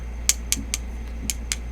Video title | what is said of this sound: Urban EDC Supply Exclusive Knafs Lander Unboxing and Scale Swap | This micarta has a lot of resin in it, and it almost sounds like metal, but it is micarta.